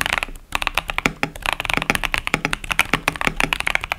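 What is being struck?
Plastic mechanical keyboard with tactile switches.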